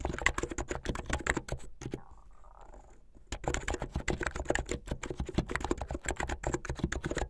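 Fingertips with medium-length painted nails type fast on a plastic mechanical keyboard with white and blue plastic keycaps. Rapid, clacky keystrokes come through with a solid low thump. There is a brief near-silent pause in the middle before the quick typing resumes.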